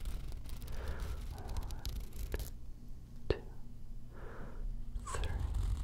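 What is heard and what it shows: Long nails tap and scratch along the paper cover and spine of a green hardcover book held upright in one hand. Soft, quick tapping and scraping sit over a low rumble, with one sharper tap standing out partway through.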